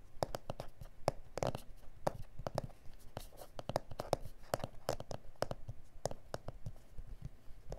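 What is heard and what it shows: Fingernails on both hands scratch and tap across a flat, solid A4 self-healing plastic cutting mat with grid lines. The result is a fast, uneven series of short, dry clicks and scrapes with a faint tonal tick around 580 Hz and quick rustling in between. Each hit dies out almost instantly.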